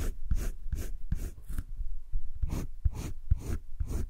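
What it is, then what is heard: Pencil shading on drawing paper. A green colored pencil rubs shading strokes along the edge of a heart on flat cream drawing paper in a wire-bound spiral sketchbook. Quick, repeated scratchy strokes each give a brief bright hiss over a soft low rumble, with a short pause midway before the strokes resume.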